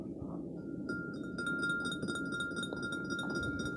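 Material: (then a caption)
Glass. A drinking glass is tapped, giving bright clinking taps with a sustained ringing tone around 1.4 kHz. The ring carries over a low background rumble.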